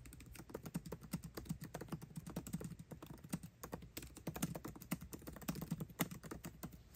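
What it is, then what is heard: Laptop keyboard being typed on. Both hands type fast with their fingertips on the backlit black plastic keycaps of a 13-inch aluminium MacBook Pro laptop keyboard, tapping the keys continuously. The result is a dense stream of quick, dry clicks with a low, thocky body around 170 Hz and short, faint bright edges, each tap dying away almost instantly.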